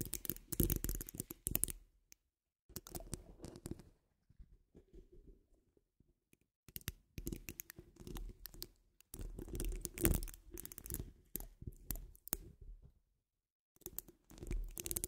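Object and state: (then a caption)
Metal mesh microphone grille scratched and tapped. Long acrylic nail tips tap and scratch across a hollow metal mesh microphone grille, making dense bursts of scratchy crackling over a deep, boomy low thump. The bursts come in uneven clusters separated by short silent gaps, with some quieter, softer scratching in between.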